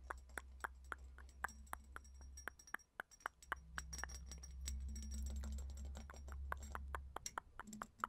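A small, hollow, round purple studded glass perfume bottle is tapped with long nails and fingertips. Quick, irregular, sharp clicks and clinks come at about three to four per second, each dying away almost instantly with a bright, glassy ring. A steady low hum runs underneath throughout.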